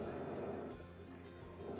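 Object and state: Nothing is struck.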